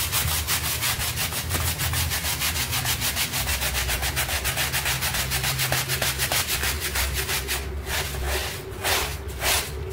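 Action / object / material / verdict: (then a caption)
scrape / textile rug scrubbed with a stiff bristle brush / textile / none. A hand scrubs a small pink rug covered in soap foam on a tile floor with a stiff bristle hand brush. Quick back-and-forth strokes make a steady, bright, scratchy rasp over a low hum. Near the end the strokes slow and spread apart into distinct swishes.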